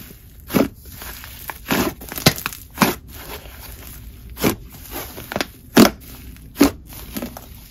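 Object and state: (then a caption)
Brown cloud slime. A large, soft mass of brown, fluffy cloud slime (a chocolate croissant slime) on a white table is pressed, squished and stretched apart by both bare hands, using fingertips and palms. About eleven short, crunchy, crackling squelches rise and fade over a quiet background, each with a bright, airy edge.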